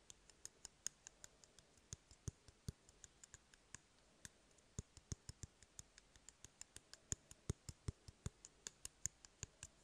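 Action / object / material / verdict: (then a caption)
tap / cardboard toilet paper roll / cardboard / none. An empty, hollow cardboard toilet paper roll is held upright by fingers and tapped and flicked with fingertips and nails. About 44 quiet, dry clicks and taps come in an irregular, steady stream, each a short bright tick with a soft low thump underneath. None of them rings on.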